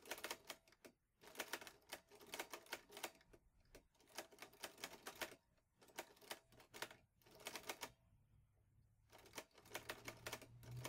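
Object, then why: Metal portable typewriter. A vintage teal metal Underwood Olivetti Lettera 22 portable typewriter with paper loaded is typed on steadily with fingertips. Bursts of sharp, bright key clacks come in quick runs separated by short pauses, each strike dying away almost instantly. A faint low hum sits underneath toward the end.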